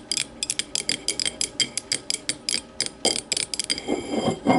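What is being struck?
Small glass tumbler.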